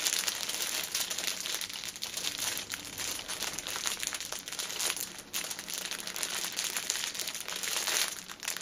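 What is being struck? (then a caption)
Plastic-film-wrapped tissue pack. A six-pack of pocket tissues wrapped in clear cellophane film lies on a table while fingertips and long nails tap and scratch across the top wrap. The result is a steady, bright crinkling and scratching, dense with quick taps and almost no low end.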